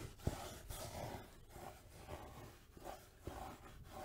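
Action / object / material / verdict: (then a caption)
scrape / velvet-covered jewelry box / velvet / none. Long nails scratch and rub across the fabric surface of a closed, palm-sized, black velvet-covered jewelry case. The result is a quiet, soft, continuous scratching and brushing texture with a few slightly sharper scrapes, and no distinct separate hits.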